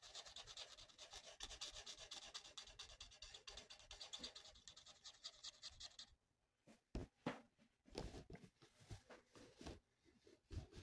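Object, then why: Felt marker on a thin paper sheet. A felt marker tip is rubbed in steady strokes across a thin, flat paper mandala coloring sheet. For about six seconds the strokes run together into a dense, bright, scratchy rasp, then after a short quiet gap they come as separate, softer swipes with small pauses between them.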